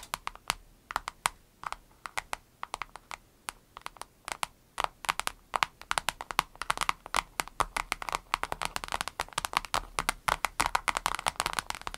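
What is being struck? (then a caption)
Soft vinyl case. An avocado-shaped vinyl case is tapped rapidly with the fingernails, making a dry, typing-like clatter. The taps are many, short and bright, with almost no ring. They start sparse and grow denser and busier toward the end.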